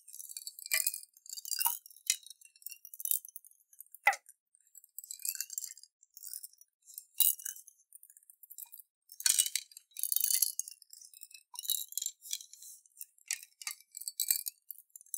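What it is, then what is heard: Glass jar with water and beads. A clear glass jar with a metal lid, partly filled with water and small colored beads, is rocked and shaken by hand. The beads clink and rattle against the glass in many quick, bright, high-pitched clicks and swishes that come in bursts. Each tick stops almost at once, with no low end.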